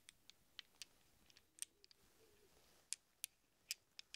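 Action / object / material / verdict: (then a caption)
shake / small chrome steel sockets / steel / none. Small hollow chrome steel sockets held in a cupped hand are shuffled and pressed by fingertips so they clink against each other. About fourteen quiet, bright, very short metallic clicks come at irregular intervals over a faint soft rustle, each dying away almost instantly.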